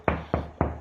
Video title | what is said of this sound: Easy DIY TV Wall Mount Installation | you can kind of hear the difference between when it's hollow and